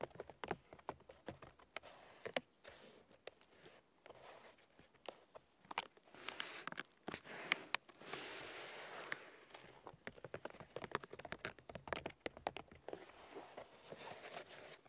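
Fingernails tap and scratch the white bark of a large, solid birch log, making quiet, dry, bright clicks and papery rasps. The quick, scattered taps stop almost at once, broken by longer stretches of scraping, with the steadiest scratch near the middle.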